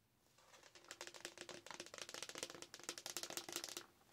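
Long nails rapidly tap and scratch an empty, large, hollow frosted plastic Starbucks cold cup decorated with Halloween decals. The result is a dense stream of bright, crisp clicks and scratchy rasps over a faint hollow tone near 350 Hz, building from quiet to steady and then tapering off at the end.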